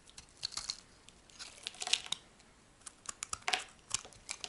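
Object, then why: Bar of laundry soap scraped with a metal blade. A chunk of solid brown laundry soap is held in the hand and scraped with a metal blade, shaving it into crumbly dry flakes. A quick series of short, crisp, bright scraping and crackling bursts sounds with almost no low end, each one dying away almost at once.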